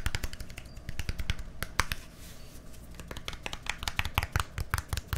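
A small, hollow white plastic deodorant stick with a green cap, held sideways near the microphone, is tapped and scratched with fingertips and nails. Rapid, sharp clicky taps with a low hollow thump underneath give way to a softer, continuous scratching in the middle before the quick tapping returns.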